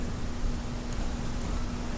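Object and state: Nothing is struck.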